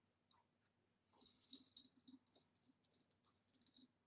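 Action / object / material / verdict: tap / ribbed glass vase / glass / none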